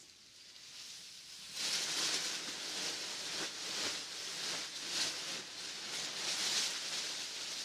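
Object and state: Nothing is struck.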